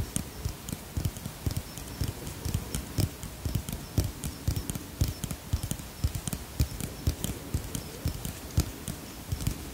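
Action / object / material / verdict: tap / plastic pump bottle of cream / plastic / none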